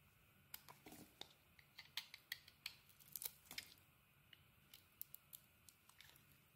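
A small metal blade carves and scrapes a solid oval bar of soap, cream inside with a red coating, held in the hand. Quiet, crisp, bright clicks and short scraping cuts come in an irregular run over a faint hiss, each dying away almost at once.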